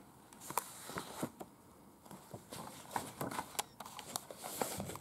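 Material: Paper.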